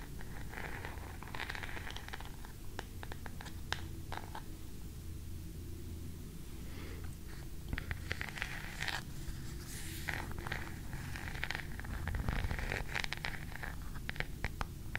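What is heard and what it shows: An oval wooden hairbrush with an ornately carved back and bristles is held in one hand close to the mic while long manicured nails scratch and tap its carved wooden back. Soft, papery scratching bursts alternate with many sharp, bright clicking taps over a steady low rumble that dominates the quiet clip.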